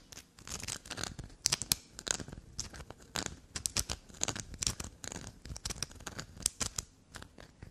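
Long glossy black nails scratch and scrape a small solid black soap bar in quick, dry bursts. Many short, crisp scrapes and taps follow one another, with most of their energy high and bright and almost no ring after each stroke.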